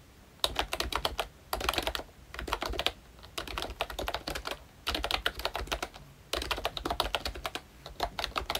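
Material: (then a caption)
Plastic. Fingertips of both hands type rapidly on a full-size Royche Disney Mickey Mouse retro plastic membrane keyboard with round typewriter-style keycaps, dark keys, a cream frame, a Mickey badge and a hollow body. Quick bursts of bright, short clicky key taps come in clusters separated by brief pauses, with a dull low thump under each stroke.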